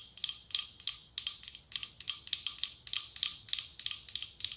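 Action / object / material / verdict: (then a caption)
tap / glass candle holder with a candle inside / glass / none. A medium cylindrical glass candle holder decorated with autumn leaves, with a candle inside, is tapped on its side with long acrylic nails. The taps come in quick, uneven clusters of bright, clicky ticks with a faint glassy ring that dies away almost at once, with no low end.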